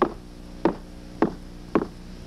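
Four knocks on a timber bridge guard rail give short, dull, woody thuds centered in the low mids, each dying away almost at once. The guard has some rot around the bolt holes, but the rest of the rail is in good shape, so the rail is judged in poor condition and rated about a four.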